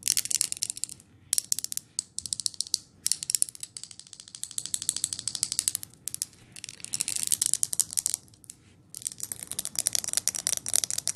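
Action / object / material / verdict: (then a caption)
tap / glass jar candle with lid / glass / none. Long nails tap and scratch the lid and glass of a large jar candle filled with green wax and wearing a pine label, while it is tilted and handled. The result is rapid bursts of crisp, bright clicking and scraping, almost no low end, broken by brief pauses.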